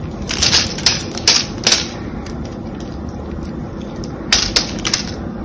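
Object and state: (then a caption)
Bar of soap being cut and scraped. A small metal blade scores a solid cream-coloured bar of soap, held in one hand, into a grid of cubes and scrapes them off. Crisp, bright cutting and crushing clicks come in irregular bursts near the start and again near the end. A steady low hiss fills the quieter middle.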